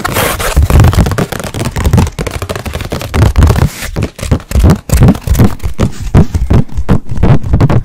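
Long nails scratch and tap the face of a blank white stretched canvas about 20 cm square, then move to its edge. Fast, irregular scratching strokes and dull taps come in close succession, with a bright hiss early on. The sound is heavy and low, with each tap dying out almost at once.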